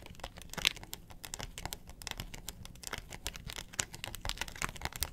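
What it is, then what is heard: Plastic box lid. Long nails scratch the ridged face of a round yellow plastic box lid, hollow with a molded pattern and held upright. The result is a quiet, rapid stream of dry, bright scratches and crinkly clicks that stop almost instantly. A faint low rumble sits underneath throughout.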